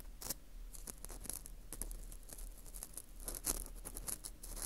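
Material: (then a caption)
Wheat gluten. An orange plastic earpick scrapes inside the hole of a porous dried wheat gluten ring (fu) held in gloved hands. It makes quick, dry, crackly scratching strokes with bright, crisp edges, over a steady low hum.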